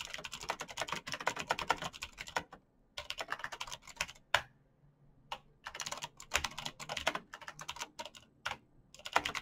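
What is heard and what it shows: Fast typing on a black plastic mechanical gaming keyboard with clicky green switches, backlit keys and a hollow case, struck by fingertips in fingerless knit gloves. Dense bursts of sharp, bright clicks and clacks come in rapid runs, broken by short pauses and a few louder single strikes. Each tap dies away almost instantly.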